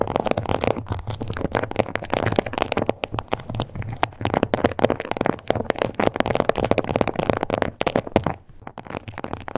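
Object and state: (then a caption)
Faux leather card holder. Long acrylic nails tap and scratch rapidly across a small, flat, glossy pink crocodile-embossed faux leather card holder. The result is a dense, continuous stream of dull, crackly clicks and rubbing scrapes, mostly low and midrange, with a few brief pauses. Each tap is short and dry, with no ring.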